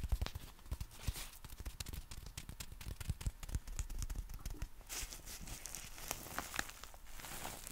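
Fingertips tap and rub the folded nylon canopy of a compact black umbrella with a plastic handle and strap. The result is a steady run of quick, soft, dull taps with low thumps, mixed with crisp, bright rustling of the fabric that grows busier toward the end.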